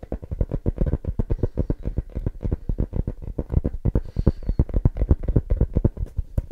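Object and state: Small leather-covered book.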